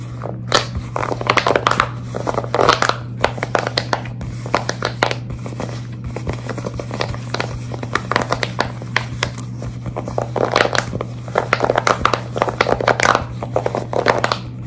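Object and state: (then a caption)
Silicone pop-it fidget toy. A large, flexible tie-dye silicone pop-it fidget toy is held and bent while long red nails scratch and grip its ridged bubbles. The result is a dense run of quick crinkly scratches, taps and squeaks over a steady low hum.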